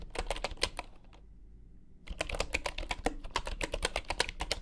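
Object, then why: Bamboo computer keyboard with wooden keycaps. Fingertips of both hands type on a full-size bamboo wooden computer keyboard with wooden keycaps, making quick, dry, clicky taps with a bright top and almost no ring. A burst of typing stops for nearly a second of quiet, then picks up again in a steadier run over a faint low hum.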